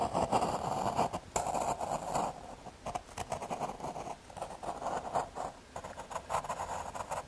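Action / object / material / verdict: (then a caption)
scrape / thin MDF fiberboard scratched with a pencil / fiberboard / none. A graphite pencil tip scratches outline strokes across a small, thin square of solid brown MDF fiberboard held in the fingers. The result is a dry, raspy run of short scraping strokes centered in the midrange around 730 Hz, some bursts longer and some quicker, with brief pauses between them.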